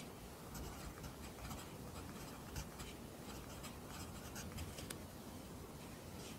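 A pencil writes Korean handwriting in an open lined paper notebook, its graphite scratching the paper. Soft, bright scratchy strokes come and go over a steady low rumble at a quiet, even level.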